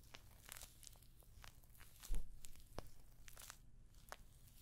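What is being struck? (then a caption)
Clutch purse covered in small metal studs. Long nails scratch and tap across the hollow rose-gold metallic pyramid studs that cover a rectangular clutch bag, held up close to the microphone. Quick, dry clicks and scratchy, crinkling ticks scatter over a low, steady rumble, with a slightly louder cluster of taps near the middle.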